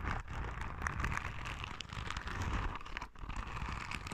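A yellow, soft, palm-sized rubber spiky sensory ball is scratched with long red nails. The result is a steady, close, crackly rustling with a heavy low rumble and a soft scratchy texture on top, dipping briefly near the three-second mark before continuing.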